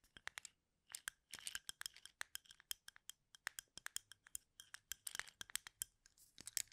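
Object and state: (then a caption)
Cup of wooden toothpicks. A small container full of wooden toothpicks is held in both hands and turned close to the mic while fingertips rub, flick and clack the toothpick ends. Some forty quick, dry, bright clicks and ticks come in irregular bursts with brief scratchy rustles between them, each snapping off almost instantly with almost no low end.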